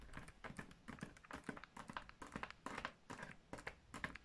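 Fingertips and long nails tap and scratch the flat paper side of a large, empty, hollow grey kraft-paper gift bag with rope handles. The result is quiet, irregular bursts of quick papery taps and crinkly scratches with a hollow, dry tone and almost no ring after each touch.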